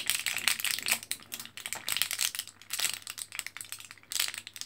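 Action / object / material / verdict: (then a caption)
scrape / plastic and foil blister pack of capsules / plastic, foil / none. An orange plastic and foil-backed blister card of capsules, held in both hands, is pressed and crinkled by fingertips. It makes a dense run of bright, crackly crinkles and sharp plastic clicks in uneven bursts with brief pauses. The sound sits almost entirely in the high range, with no low-end body.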